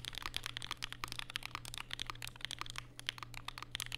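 Fingertips type continuously on a compact black Vega mechanical keyboard with plastic keycaps and Durock POM switches, resting on a desk mat with a white wrist rest. Rapid, short, bright clacks with sharp attacks and almost no ring cluster around 3.2 kHz. A steady low hum sits underneath throughout.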